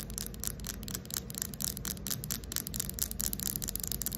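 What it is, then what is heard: Carved wooden ball. Long acrylic nails scratch and tap the surface of a fist-sized, round carved wooden ball (possibly coconut shell) with inlaid light slivers, likely hollow with an opening. Rapid, uneven bursts of bright, dry scratching come in quick succession with short clicky taps, over a steady low rumble.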